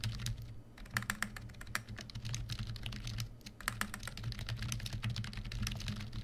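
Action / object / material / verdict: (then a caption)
tap / plastic membrane computer keyboard / plastic / none. A full-size black plastic membrane keyboard, a Cosy KB1388, sits on a white desk and is typed on rapidly with the fingertips of both hands. Quick, soft plastic key clicks and taps run densely throughout over a low steady hum.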